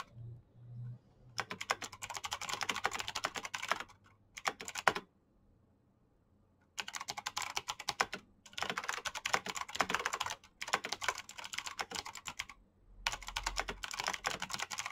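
Fingertips rapidly type on a black plastic mechanical keyboard with clicky green switches and backlit keycaps. They make bursts of sharp, bright clicks separated by short pauses, with one longer silence around the 5 to 6.7 second mark. A faint low hum sits underneath at the start.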